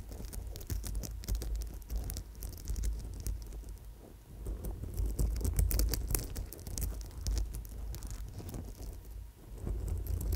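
An old amethyst chip bracelet on gold wire is held in both hands against the microphone while long nails scratch and tap the stone chips and wire. Dense, irregular patter of small, bright clicks and scratchy rustles runs throughout over a low handling rumble, with no talking.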